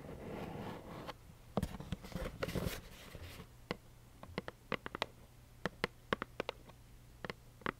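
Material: Cardboard.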